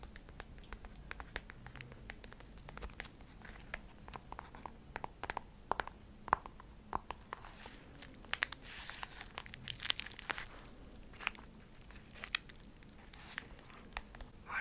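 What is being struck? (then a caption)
Clear plastic bubble wrap. A small bundle of clear plastic bubble wrap, held in both hands, is squeezed, crinkled and scratched with long nails. Quiet, dense crinkling and scratching is broken by frequent sharp, bright clicks and pops, with a faint low steady hum underneath. A brighter rustling swell rises around the middle of the clip.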